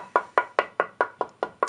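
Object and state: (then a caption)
Cypress guitar body blank with a bright tap tone. A cypress wood blank for a guitar body, a light wood similar to swamp ash and a little lighter than alder and basswood, is knocked eight times in a steady rhythm to show its tap tone. Each knock gives a bright, woody tone centered near 1 kHz with a brief ring. The tap tone is brighter than basswood, with a good ring.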